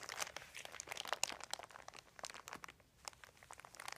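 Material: Plastic.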